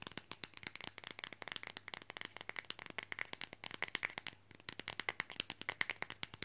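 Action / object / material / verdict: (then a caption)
tap / flexible printed fridge magnet / magnetic rubber / none. Long fingernails rapidly tap and scratch a thin, flexible, red printed Coca-Cola fridge magnet held close up. The result is a dense stream of dry, bright, very short clicks with a faint scratchy texture, mostly high in tone with almost no low end. The tapping pauses briefly near the middle, then picks back up.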